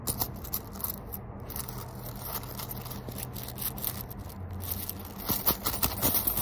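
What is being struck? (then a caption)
Small leather zipper coin purse. Fingertips and short nails scratch and rub the surface of a small fish-shaped tan leather coin purse with yellow zigzag stitching and a zipper, held in the hands, with coins inside seemingly shifting. A steady, bright scratchy rustle rides over a low rumble, then turns into louder, sharper crackling scrapes near the end.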